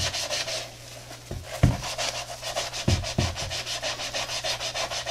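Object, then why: Textile and rubber sneaker. A blue-bristled brush with soapy lather scrubs back and forth over a hollow tie-dye Adidas running shoe, with a knit textile upper and white foam midsole, held in gloved hands. Quick, rhythmic, bright bristly rubbing strokes are heard over a faint low hum, and four dull low thumps break through in the middle.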